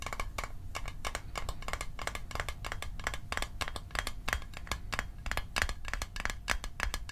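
A small metal Altoids mint tin is tapped rapidly with many short, crisp clicks over a steady low rumble. Each tap carries a brief bright metallic ping that fades almost at once, and the taps keep an even, quick pace throughout.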